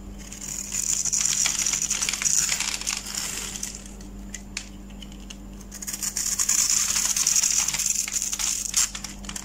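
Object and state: Bar of soap being cut.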